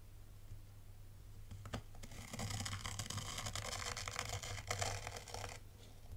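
A dark plastic T-rake scrapes through dry, fine white sand raked into wavy patterns in a tray. It makes a crisp, crunchy, gritty rasp with bright hiss that swells from quiet into a dense, steady scrape, then fades. A low, steady hum runs underneath throughout.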